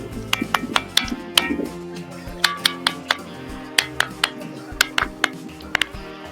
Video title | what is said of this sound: 🔔घंट्याप्रमाणे वाजणारे दगड 😳 विज्ञानालाही चकित करणारे सत्य! - Ringing Rock #RingingStones #kokankada | त्यांचा घंटानाथ सारखा आवाज येतो